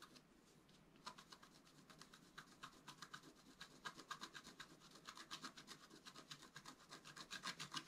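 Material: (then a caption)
Coated paper. A wooden stylus scratches the black coating of a flat scratch art card lying on a table, working near the top of the design. After a quiet first second, quick, bright, dry scraping strokes repeat about four times per second. They grow slightly louder toward the end.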